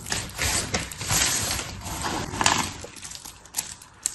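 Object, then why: Pile of soap shavings. Palms press into a pile of dry blue and pink soap shavings, and fingers pick up and crush the brittle pieces. The result is a steady, bright crunching and crackling rustle that fades toward the end, with a few sharp snaps standing out.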